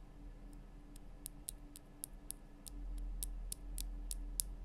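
Long nails tap the sides of the base of a large, lit pink Himalayan rock-salt lamp, a solid rough crystal block cupped in both hands. About a dozen short, bright, dry ticks repeat at a steady pace over a constant low hum.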